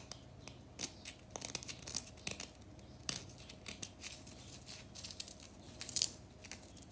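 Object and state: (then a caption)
Compressed powder bath bomb. Long natural nails scratch, flick and crumble a solid chunk of compressed-powder bath bomb in the bath. Many sharp, bright, dry crackles and scratchy bursts come in quick irregular clusters over quiet gaps, with a faint steady low hum underneath, as the chunk breaks apart.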